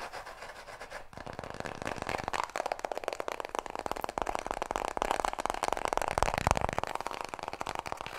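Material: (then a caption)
Paper. A small, full roll of white toilet paper is held close to the mic and rubbed and scratched with fingertips and nails. The result is a dense run of quick, papery scratching strokes with a soft rustling body, growing louder and busier partway through before easing slightly at the end.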